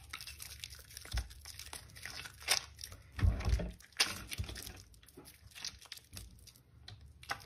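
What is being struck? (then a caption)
Bar of soap. A rectangular white bar of soap, solid but soft from soaking, sits in a basin with a little water while both bare hands squeeze and rub it into crumbly foam. Irregular wet crunching, crinkling and tearing sounds come in bursts, with deeper squelches and bright crackles as the mushy soap crumbles.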